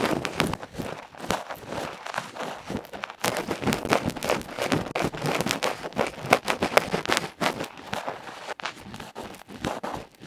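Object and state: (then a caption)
Metal microphone capsule scraped. A bamboo ear pick tip scratches and scrapes a small hollow aluminium electret microphone capsule with a black felt face, held in the fingertips. Rapid, dense bursts of harsh, crackly scratching and rubbing follow one another with very short decay, heard close-up and bright with little low end. The intensity surges and dips throughout without a pause.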